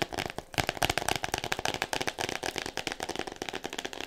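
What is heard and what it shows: Fingernails tap quickly on the front cover of an "All About Me" hardcover book wrapped in clear plastic, producing a dense run of sharp, bright clicks with a crinkly plastic edge. Each tap dies away almost instantly. The book sounds solid.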